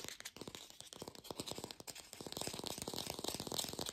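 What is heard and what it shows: An artificial plastic green apple is fast-tapped in a lo-fi recording made without a microphone. A rapid, steady stream of light, hollow clicks carries a bright, hissy top. The taps grow slightly louder toward the end.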